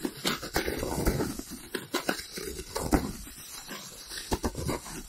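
A white, round styrofoam plate held to the left of the microphone is rubbed and scratched with fingertips and nails. This produces a steady scuffing rasp broken by sharp, bright squeaks and scratches.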